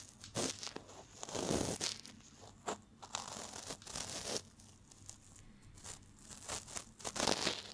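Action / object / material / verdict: scrape / cotton swab rubbed inside a silicone ear / silicone / none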